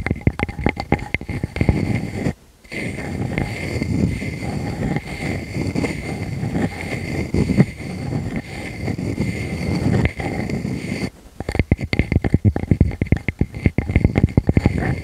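Long fingernails scratch across the cut surface of a solid round wood slice with a bark rim, held in front of a furry microphone. Dense, rapid, dry scraping strokes dominated by low rumbly texture run throughout, with a brief silent gap near the start and another lull before a burst of quicker, sharper scratches at the end.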